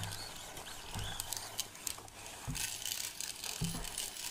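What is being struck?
Plastic measuring tape reel.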